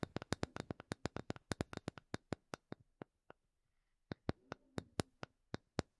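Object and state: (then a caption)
Wooden block. A small, solid, light wooden block held in both hands is tapped with long painted nails. Quick, dry, sharp clicks with almost no ring come in a fast run, slow down, pause briefly, then resume in a sparser pattern.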